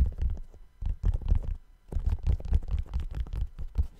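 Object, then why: Suede sneaker with rubber sole. Fingertips tap and scratch the side of the upper of a hollow, empty brown suede sneaker with a white rubber sole. The result is a quick run of soft, dull, low thumps and brushing scratches in uneven bursts, with almost no ring after each touch.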